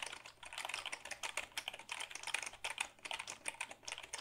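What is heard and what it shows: Fingertips type on the keys of a black Dell keyboard made of hollow plastic, held tilted. A quick, steady run of short, bright plastic clicks and taps follows, each dying away almost at once, with almost no low-end body.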